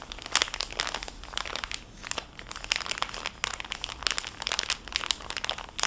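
A full, small, clear cellophane bag holding a flat, soft fabric makeup wipe pouch is held edge-on, then crinkled and squeezed by fingertips and nails. The result is a steady run of bright, crisp crackles and sharp snaps with little low end, each pop dying away almost instantly.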